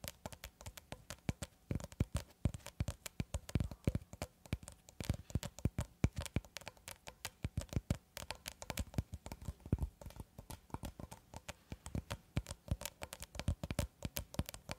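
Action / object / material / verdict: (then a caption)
tap / plastic cling film roll / plastic film / none. Long red acrylic nails tap rapidly and steadily on a long cylindrical roll of clear plastic cling film, solid wound film held horizontally. Each tap is a short, dull thud with a dry click on top, low-weighted around 90 Hz and dying away almost instantly. The taps come in a quick, uneven patter that runs continuously for the whole clip.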